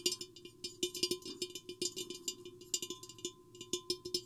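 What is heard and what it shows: Long painted nails of both hands tap and scratch a tall, hollow, empty clear glass vase with an hourglass shape, with a microphone hanging inside it. A quick, uneven run of bright, clicky taps sounds, each carrying a short hollow tone of about 360 Hz that dies away almost at once. Soft scratching fills the gaps, and a faint steady hum sits beneath.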